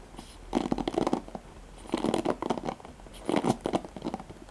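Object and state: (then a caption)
Plastic paddle hairbrush with nylon bristles. Fingertips with medium painted nails scratch and flick the dense nylon pin bristles on the cushion of a handheld black oval plastic paddle hairbrush. Dry, crackly scratching and rapid ticking come in three separate bursts with quiet pauses between. The sound is mostly mid-range, with little deep bass and only a faint bright edge.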